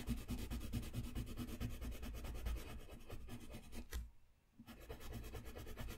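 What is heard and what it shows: A blue-capped wooden colored pencil rubs back and forth across a flat, thin white sheet of drawing paper resting on a desk while coloring. The quick, steady scratchy strokes are low and papery, pausing briefly near the end before resuming.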